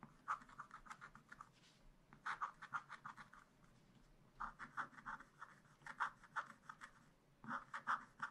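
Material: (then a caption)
Waxed paper. A wooden stylus scratches lines for trees into black wax-coated scratch-art paper in a spiral-bound pad. Quick runs of short, dry, raspy strokes centered around 1.2 kHz, with bright edges, come in several bursts separated by quieter pauses. Each stroke stops almost at once.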